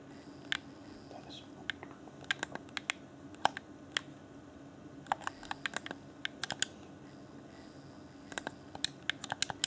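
A fingertip taps and clicks the buttons and D-pad of a hand-sized, hollow, transparent plastic Afterglow controller for Xbox One. About 28 short, dry, bright clicks come in irregular bursts, with no ring after each one. A faint, steady low hum runs underneath.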